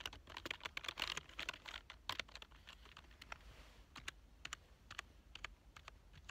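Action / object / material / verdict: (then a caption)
tap / plastic computer keyboard / plastic / none. Fingertips of both hands type on a full-size black plastic keyboard with a hollow body, lying on a couch. Quick, dense bursts of bright, clacky keystrokes in the first half thin out to sparser, separate taps. Each click is short and dry, with no ringing.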